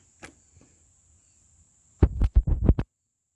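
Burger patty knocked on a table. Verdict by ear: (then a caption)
Hard. A campfire-cooked burger patty, burnt so badly it is hard as rock and inedible, is tapped on a table in a quick run of dull, low knocks. A thin high-pitched whine runs steadily underneath, with a couple of faint soft sounds before the tapping starts.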